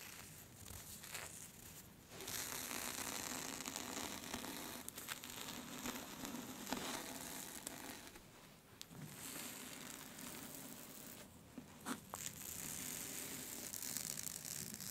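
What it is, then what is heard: Silky fabric scarf being scratched. Long red-orange nails quickly scratch, pinch and rub a thin, smooth black scarf with a white skull print. The result is dense, bright rustling and crinkly scratching that runs almost continuously. It eases into quieter stretches near the start and around the middle before picking back up.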